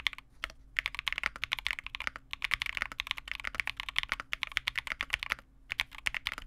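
A Vega65 custom mechanical keyboard with re-lubed Cobalt switches, a dark case and white/cream plastic keycaps sits on a desk mat while both hands type continuously with their fingertips. The result is a rapid stream of short, crisp, bright clacks centered around 2 kHz with almost no low end, broken by a few brief pauses.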